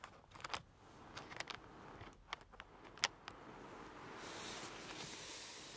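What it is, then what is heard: Paper colouring book page. Fingertips and long painted nails of both hands softly rub and lightly scratch the glossy printed paper page of a large open paperback colouring book lying flat. Quiet, crisp, bright scratches and ticks sound over a faint papery hiss. Toward the end, the hiss swells into a steadier, brighter rubbing.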